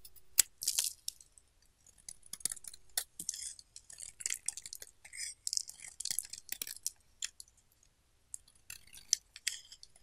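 A solid pink bar of soap, already partly carved and held in the palm, is scraped with a utility knife blade in short strokes. Quiet, crisp, bright scraping and shaving bursts come in an irregular series, each brief with almost no ring and little low end, separated by short silent pauses.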